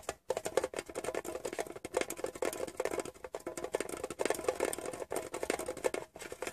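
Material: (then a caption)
Metal. Fingertips rapidly tap the printed side panel and lid edge of a small, hollow, rectangular metal Wrigley's chewing gum tin. The result is quiet, dense, light clicks, each carrying a short hollow metallic ring around 520 Hz that dies away almost instantly, with brief pauses between bursts.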